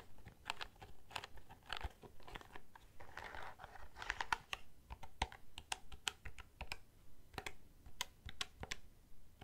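Fingertips of both hands press the keys of a black plastic desk calculator, which is held up and then moved to the side. Quick, irregular plastic clicks and taps follow one another, with short crinkly bursts between some presses.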